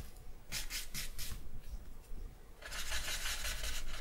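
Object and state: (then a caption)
Charcoal drawn over paper. A thick charcoal stick is rubbed and scratched over the face area of a drawing on a sheet of white drawing paper. A few short, bright, papery strokes come first, then a quieter pause, and from about 2.6 seconds a steady, dense scratchy shading that lasts to the end over a low background hum.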